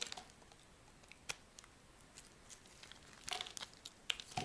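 A chunk of solid brown laundry soap, held in the hand, is scraped with a metal blade into crumbly dry flakes. Quiet, bright, crisp scratches and crinkly crumbles come in short bursts over a faint hiss, with a denser cluster of louder scrapes near the end.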